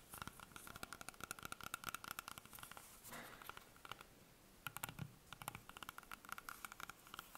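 Long painted fingernails tap and scratch the skin of a whole, solid green apple held in the hands. Dense, quick clicks with a bright edge and a steady high ringing tone come in clusters, broken by a short soft scratching pass and a brief lull. The clicks then resume just as rapidly.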